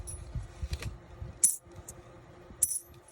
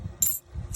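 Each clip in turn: First: 40% silver half dollar, bright ping. Second: clad half dollar, dull sound (not silver).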